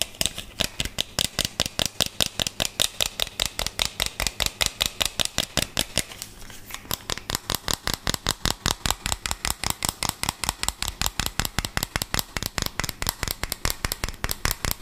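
A small hollow green plastic toy car with printed stickers is held in the hand and quickly tapped and scratched with fingernails. The result is a fast, steady stream of bright, clicky, rattling taps with no ring, with a brief scratchy patch partway through.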